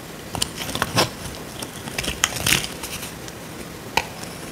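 A solid, dry, rectangular tan soap bar held in the hand is scraped with a small metal blade. Irregular bursts of dry, crisp scraping and crackling are heard, mostly bright and high, with short flaking sounds that stop quickly between strokes.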